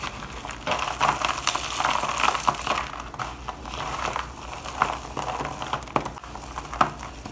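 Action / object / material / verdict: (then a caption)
scrape / dry soap shavings in a plastic bowl / soap / none. Gloved fingers rub and crumble a pile of dry white shaved bar soap shavings against the bottom of a black plastic bowl. A steady, dense crunching and crinkling runs throughout, with sharp crackling peaks scattered across the clip and energy concentrated in the midrange and upper frequencies.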